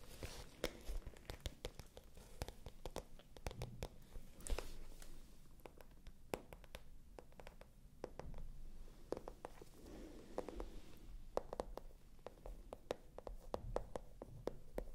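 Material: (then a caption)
Patent leather. Long nails scratch a small, hollow, pale pink glossy patent leather clutch bag close to the microphones. The result is a quiet, steady run of dense scratching with sharp, dry clicks and ticks over a low, soft rumble. Each click stops almost instantly.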